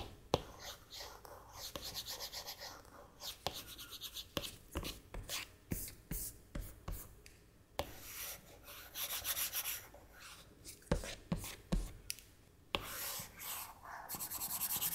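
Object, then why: Plastic stylus nib on a glass tablet screen. A plastic stylus nib rubs across the flat glass touchscreen of an iPad tablet in chunky line strokes. Quiet, bright, scratchy rubbing swells come in short bursts, broken by sharp little taps as the nib meets the glass.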